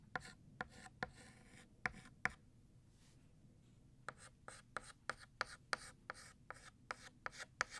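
White chalk is pressed in short strokes on a flat black chalkboard to thicken the letters of the word "Year." Sixteen quiet, dry, bright scratches are heard, with a pause in the middle, and each one stops almost instantly with no ring.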